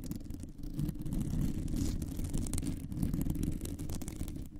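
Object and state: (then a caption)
Metal microphone mesh grille being scratched. Long nails scratch across a round, hollow metal mesh microphone grille with both hands, producing a dense, continuous low rumbling scrape with a rattly texture. Faint bright ticks flicker above it, and the level stays fairly steady throughout.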